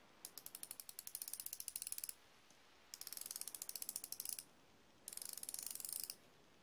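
A chrome steel flexible-head ratcheting wrench clicks as fingertips rotate its ratchet ring and hinged head. Three bursts of rapid, crisp, bright ratchet clicks are separated by short quiet gaps, each click dying away almost instantly.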